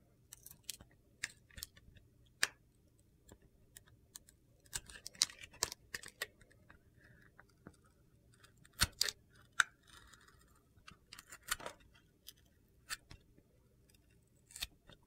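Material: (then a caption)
Soap. A metal utility-knife blade scrapes and carves gritty flakes off a hand-held solid oval white bar soap coated in turquoise and blue glitter. About 22 quiet, dry, bright crunching clicks and short scrapes come in irregular bursts, each dying away almost instantly.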